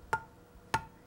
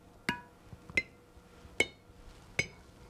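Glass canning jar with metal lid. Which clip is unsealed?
The first.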